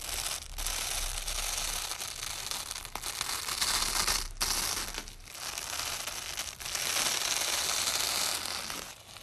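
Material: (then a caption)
Nylon. A long strip of white nylon hook-and-loop tape is held at one end by a black-gloved hand while the other hand peels the layers apart and presses them back along the strip. A bright, crackling tearing rasp runs in sustained stretches, broken by short pauses as the layers are pulled open and pressed back together.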